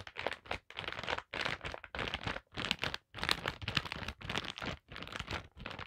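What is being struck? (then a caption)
Plastic foil zip-lock pouch. Long black pointed nails tap and scratch across a flat holographic foil-plastic zip-lock pouch lying on a table, filled with a paper card, wire hoops and small packets. The result is bright, crisp crinkling and rustling in uneven bursts, separated by brief silences.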